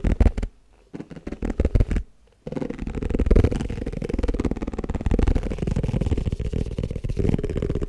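Fingertips and nails tap rapidly on the base and side walls of an empty, hollow, white round plastic tupperware food container. Short bursts of dull, low, thumping taps, separated by brief silences, give way to a continuous flurry of fast, muffled tapping. The taps are deep and boomy, with almost no ring.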